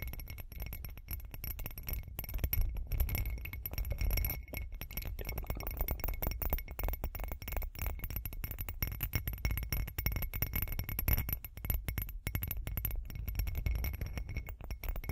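Long acrylic nails rapidly tap and scratch the surface of a hand-sized, hollow, textured glitter glass cup. The result is a dense, continuous stream of short clicks and scraping over a heavy low-end thump, with faint bright glassy clinks on top.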